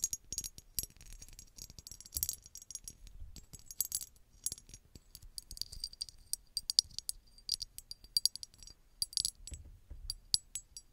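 Long red acrylic nails tap and scratch a small, hollow, empty-looking red glass bottle with a textured embossed surface, held close to the mic. Quick, irregular bright clicks and scratchy, rattling glass sounds follow one another with almost no low end. Each tap dies away almost at once.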